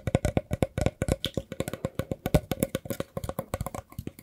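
A hollow woven rattan basket is held in the hands and scratched with the fingertips along its edge and weave. The result is a rapid, steady series of about 28 short, dry, hollow taps and scratches, each with a low body and almost no ring.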